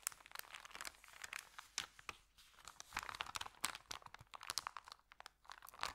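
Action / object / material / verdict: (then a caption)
scrape / paper sandwich bag / paper / none. An empty, flat white Subway paper sandwich bag with green print is pressed and rubbed flat by fingertips, then lifted and bent by hands. The result is a dense run of sharp, bright paper crackles and crinkles with scratchy rubbing in between. There is almost no low end, and each snap dies away instantly.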